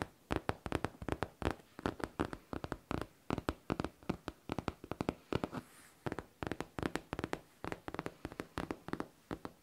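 A hollow pink faux leather backpack with a smooth surface is tapped and scratched with long nails, giving about fifty quick, dry taps in uneven bursts. The taps are soft and dull with a low thump, each dying away almost instantly, with a brief quieter scratching stretch near the middle.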